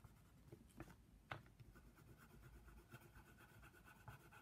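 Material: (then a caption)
Paper. A brown wooden colored pencil rubs and scratches across the flat white paper page of a coloring book, shading the giraffe's nose area. The quiet, steady papery scratching is mostly low, with about five sharper ticks standing out as the pencil strokes back and forth.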